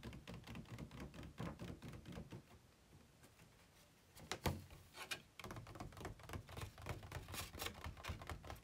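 Fingertips and nails tap an empty, hollow, ribbed white plastic packaging insert tray, held upright and then tilted on a bed. Rapid, dull, low-heavy taps with short clicky edges fill the clip, easing to a quieter stretch in the middle before a louder knock and a return to brisk tapping.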